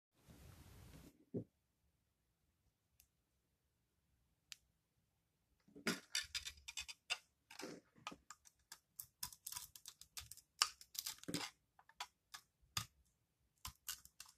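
A metal utility-knife blade shaves and cuts the glittery purple-and-green crust of a palm-sized, solid ball of dry recycled soap held in both hands, exposing the green inside. After a brief soft hiss and a few isolated ticks, a rapid run of bright, dry, crisp scraping crackles follows, each one short and sharp with almost no ring.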